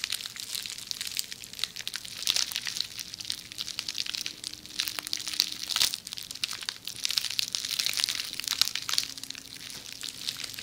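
A hollow, forearm-length roll of red plastic bubble wrap is held in one hand while long manicured nails scratch and squeeze the bubbles right next to a binaural microphone. The result is a dense, continuous stream of bright, high crinkling and crackling with quick ticks and no ring, over a faint steady low hum.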